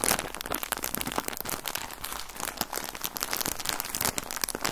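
Fingers crinkle and squeeze a full plastic bag of cotton balls with an orange label. Dense, bright crackling and crinkling snaps run continuously with little low end, each crackle dying out almost instantly.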